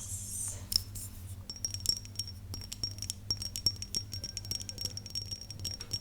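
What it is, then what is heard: Glass perfume bottle tapped with nails. Long nails tap and scratch a cloudy glass perfume bottle with liquid inside, whose sound changes as the liquid moves around. Quick, bright clicks each ring out in a brief, high, chime-like tone, over light scratching and a faint steady low hum.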